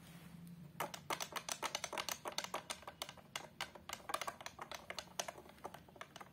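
Long acrylic nails tap and scratch quickly on the glass front and along the patterned border of a large framed picture lying flat. About thirty sharp, bright clicks follow one another at an uneven rhythm, each dying away almost at once. A faint low hum sits underneath.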